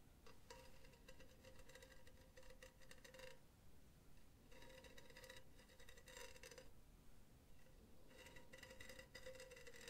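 Long teal nails tap and scratch across the diamond wire mesh of an empty, hollow silver cylindrical metal mesh pen holder lying on its side. Bursts of bright, crackly metallic scratching alternate with pauses, with a faint ringing tone around 500 Hz over a low background rumble.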